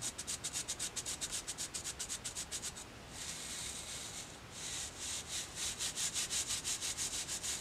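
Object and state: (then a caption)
Boar-bristle hair brush being scratched. Fingertips scratch and rub across the dense black boar bristles of a small hair brush with a dark wooden body, held in the other hand. Quick, evenly repeated bright, hissy scratching strokes give way to a steadier continuous rub in the middle, then return to rhythmic strokes. The sound is quiet and almost entirely high-pitched, with little low end.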